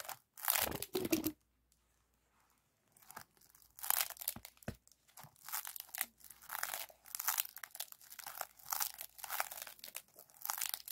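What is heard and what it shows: Both hands squeeze, bend and scratch a compressed aluminum foil flexible duct with a wire spiral, using fingertips and nails. It gives crunchy, bright crinkling and tearing-like rustles in repeated bursts, with a near-silent pause early on.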